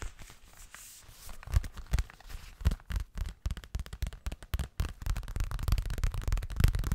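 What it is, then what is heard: Fabric cosmetic pouch. Fingertips and nails tap fast on a hollow, pink leopard-print zippered toilet bag made of what is probably coated fabric. The result is a busy, irregular run of soft, dull, low thuds with short crisp edges, quiet at first and denser and louder in the second half.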